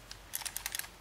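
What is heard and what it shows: A brand-new Quest electronic brake controller, meant for installing on a truck, is shaken in the hand with its buttons held down, giving a quick series of light, dry, high-pitched clicks and rattles. The rattle comes from a loose part inside the housing, not the buttons, so the unit is faulty.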